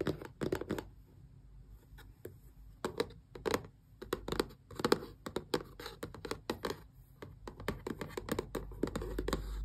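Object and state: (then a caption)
Cardboard box scratched and tapped. Long press-on nails scratch and tap across the glossy printed front of a small, closed, hollow cardboard Xbox controller box. Quick, dry clicks and raspy scratches come in irregular bursts with a hollow papery body and bright edges. Each tap dies away almost instantly, over a faint low rumble.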